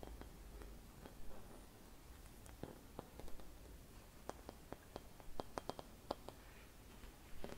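Long red nails tap and scratch across a hollow, silvered mercury glass Christmas bauble with a metal cap. About 15 soft, short ticks and clicks stand out over a low, quiet scratching hiss, each dying away almost instantly with a faint glassy tone.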